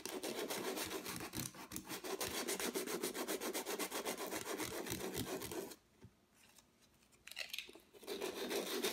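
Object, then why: Acrylic-painted stretched canvas rubbed with sandpaper. A small folded piece of sandpaper is rubbed back and forth by fingertips across a stretched canvas, roughly 30 cm square, with thick white and turquoise acrylic texture, lying flat on a table while the other hand steadies it. Rapid, dry, gritty scratching strokes repeat steadily at a brisk pace. The rubbing pauses near the six-second mark, leaving near-silence before the sanding resumes.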